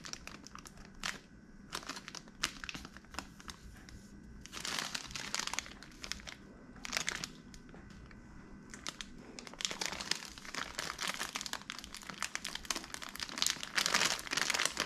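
A small flexible plastic/foil resealable Sour Patch Kids Heads candy pouch, full of gummy candy, is held in both hands, turned and squeezed with fingertips. Bright, dense crinkling comes in bursts with quieter rustling between them, and it grows louder and busier toward the end.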